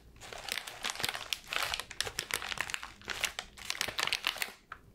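A ball of light wrapping paper is squeezed, crinkled and scratched with fingers and nails. It makes a continuous, bright crackling with dense bursts of sharp, dry crinkles that swell and fade throughout. There is almost no low-end body.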